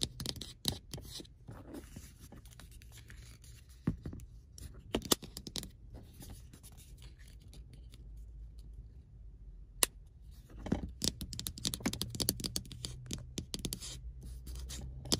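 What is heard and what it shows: Fingertips and nails tap and scratch the lid and body of a small, hollow, glossy pink plastic earbuds charging case resting on a car seat, opened to show the earbuds inside. Sharp, short clicks and scratchy rustles come in bursts over a steady low hum, with a quieter stretch in the middle before the tapping picks up again.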